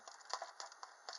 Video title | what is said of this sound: How to make Reese's Peanut Butter Profiteroles (super easy) | If it sounds hollow, you know it's done.